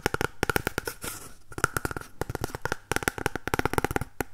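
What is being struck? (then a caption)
Empty cardboard toilet roll tube. An empty, hollow cardboard toilet roll tube held in both hands is tapped and scratched on its outer surface with fingernails. About twenty quick, dry taps with a hollow ring near 1.4 kHz die away almost instantly, broken by a short stretch of bright, hissy scratching.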